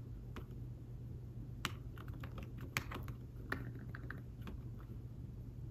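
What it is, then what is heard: Fabric-covered tablet keyboard. Slow fingertip typing on a thin folio tablet keyboard with fabric-covered keys, producing soft, muted taps with a brief bright click on some strokes. The taps die away almost instantly over a steady low hum.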